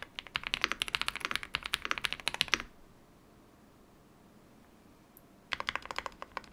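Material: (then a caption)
Plastic. Fingertips type on a modded full-size Yunzii YZ98 mechanical keyboard with plastic keycaps, giving a fast run of bright, sharp clicky keystrokes for about 2.6 seconds. A quiet pause with a faint single tick follows, then another burst of quick taps resumes near the end.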